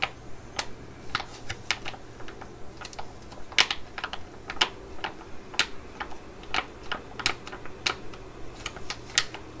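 A laminated plastic pouch with a pad tub inside is held and crinkled while being tapped with long nails. A steady series of sharp, bright clicks and crisp crackles sounds over a quiet, low background hum.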